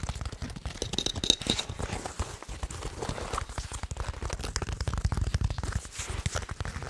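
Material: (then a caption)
Nylon. Fingertips and nails scratch and tap the woven fabric panel of a black nylon plate carrier with MOLLE webbing, probably empty, held close to the microphone. The result is a steady stream of dry, rapid scratching and crinkly tapping, with soft low thumps under a brighter rasp.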